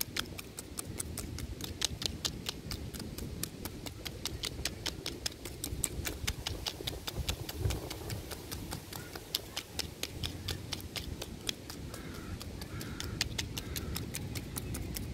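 Both hands tap and scratch a large, solid tree trunk with rough bark, using fingertips and nails. Dozens of short, sharp, bright clicking taps ring out in a steady, rapid patter over a soft, low, rustling scratch. Each tap dies away almost instantly.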